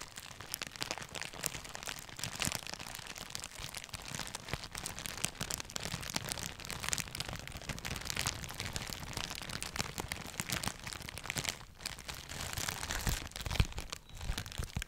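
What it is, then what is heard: Clear plastic wrap. A thin sheet of clear plastic wrap, possibly bubble wrap, is held in both hands below the microphone and crumpled and crinkled with the fingertips. The result is a steady, dense stream of bright crackles and rustles over a soft low rumble, with brief quieter gaps and a few sharper crunches.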